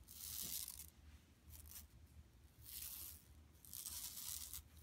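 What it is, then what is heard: Plastic mesh shopping bag. Long nails scratch across an empty, flat yellow woven plastic mesh tote bag lying on carpet. The result is four bursts of bright, rasping, hissy scratching over a faint low hum.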